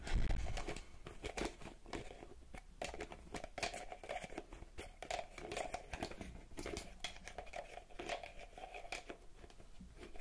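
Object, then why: Small plastic bottle. A small purple plastic bottle with a pink cap and a barcode label is tapped and scratched with long, red-painted fingernails close to the mic. A dense run of quick, dry clicks and crinkly scratches continues steadily, with a louder thump at the start and a faint low rumble underneath. Each tap dies away almost instantly.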